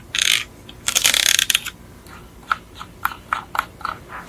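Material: Plastic.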